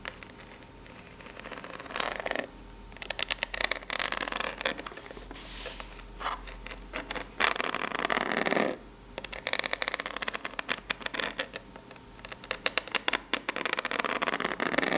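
Long pink nails scratch the ribbed face and layered edge of a small, hollow, brown corrugated cardboard box. The result is dry, bright scraping in bursts, mixed with rapid ticking and tapping, with almost no low end.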